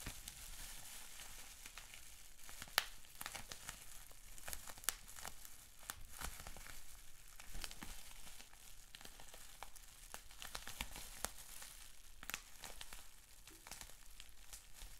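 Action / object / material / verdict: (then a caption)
scrape / plastic bubble wrap sheet / plastic / none. Fingers squeeze and twist a rolled sheet of clear plastic bubble wrap with small bubbles. The result is a steady, bright crinkling and crackling, broken by frequent sharp little pops and snaps that die away almost instantly, all at a fairly quiet level.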